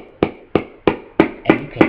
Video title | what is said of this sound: Sigp250 slide takedown#2 | tap it all the way in and you can hear the difference when it hits the bottom